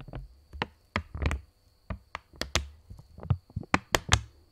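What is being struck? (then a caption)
Polymer plastic banknote. A purple £20 polymer banknote, a thin plastic film held taut between both hands in front of the mic, is flicked, tapped and tensioned by the fingers. The result is a series of sharp, dry snaps and taps with bright crackle, low thumps and almost no ring, spaced irregularly. A faint, steady high-pitched hum sits beneath them throughout.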